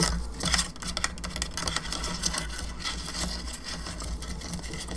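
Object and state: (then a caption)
Plastic skull lamp tapped and scratched with nails. A hollow painted plastic skull candelabra lamp standing on its base is scratched and tapped on the sides of the cranium by both hands with long nails. The result is a dense, continuous run of quick, irregular clicks and scrapes with bright, hollow plastic textures over a steady low hum.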